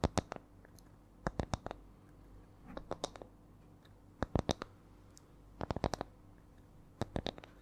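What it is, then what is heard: Wooden coaster. A small, round, flat spiral wooden coaster with coiled rings, apparently light wood, is held close to the microphone and tapped with long nails. Sharp, dry clicks come in short clusters of quick taps separated by pauses, with an irregular rhythm over a faint steady low hum.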